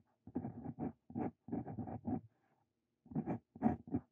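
A steel Brause Cito Fein dip pen nib scratches across a sheet of lined paper as a hand writes out a new line. Short, dry scratching strokes come in quick clusters, pause briefly, then resume, with most of the sound in the low-mid range and little ring after each stroke.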